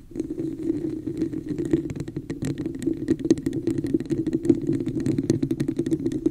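Long nails tap rapidly on the sides of a hollow red plastic cup with an embossed texture, held over the microphone. The result is a dense, fast patter of clicky taps over a boomy, hollow resonance centered around 320 Hz, with bright, sharp transients.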